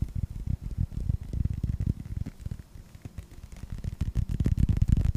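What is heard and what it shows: Fingertips tap a hollow, hand-sized yellow rubber toy ball with a red star, Pixar-style, first in front of and then below the microphone. The result is a rapid, uneven run of soft, dull, low thumps with almost no brightness and very short decay. The tapping is quieter in the middle and grows louder again toward the end.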